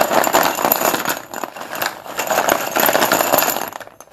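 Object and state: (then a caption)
Chalk sticks clattering in a plastic bowl. Fingertips dig, stir and lift a pile of many solid white cylindrical Sundeep dustless pure white chalk sticks in a blue plastic bowl. The sticks make a dense, continuous clatter against each other and the bowl, with a bright, crisp texture centered in the mid range. The sound swells twice before tapering off at the end.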